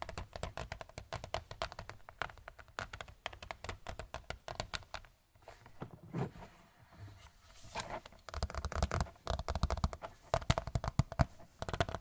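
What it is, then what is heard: Large picture frame. A large white picture frame is tapped quickly and repeatedly with no talking. The taps are short, dry and low-toned, with a brief quieter stretch in the middle before the rapid tapping picks up again.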